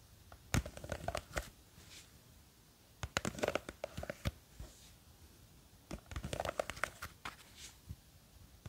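Long green fake nails scratch and grip the sides of a small clear plastic jar with a white lid, full of blue gel beads. Three quiet bursts of crisp, clicky tapping and crinkly scratching, with sharp bright ticks, come between short pauses.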